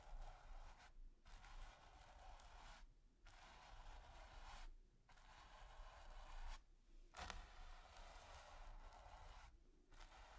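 A bristle brush with a wooden handle is swept and scratched over a flat, taut, textured primed canvas, with some strokes partly out of frame. Its long, dry, scratchy strokes are separated by brief pauses, over a steady low rumble. One stroke ends with a short, brighter scrape.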